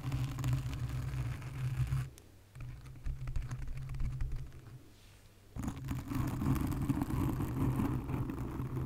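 Long nails scratch a black foam windscreen on a condenser microphone, making a dense, low, rumbling scrape with fast irregular scratching textures. The sound thins out and drops quieter twice, briefly around two seconds and again from about five seconds. It then returns full and loud for the rest of the clip.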